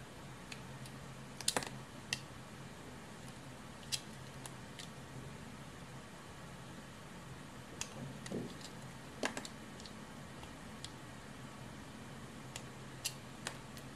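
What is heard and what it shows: A utility knife blade slices thin strips from the surface of a solid blue rectangular bar of soap embossed with "Aroma," held in the hand. Quiet, scattered, sharp scraping cuts and crisp clicks sound at irregular moments over a faint, steady low hum, each cut brief and bright.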